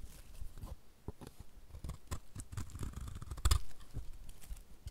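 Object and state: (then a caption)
Dry bar soap being scraped. A dry, solid white rectangular bar of soap is held in the hand while a utility knife blade scrapes thin shavings from its surface and edges. The result is a run of short, crisp scraping and crackling strokes with soft low thumps underneath and bright flecks on top, with one louder scrape near the middle.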